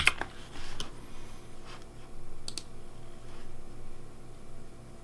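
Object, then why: Plastic mechanical keyboard. Fingertips type at a sparse pace on the keys of a pink plastic Razer DeathAdder V3 Pink mechanical keyboard. The result is a few short, bright clicks with almost no ring, spread apart over a steady low background hum.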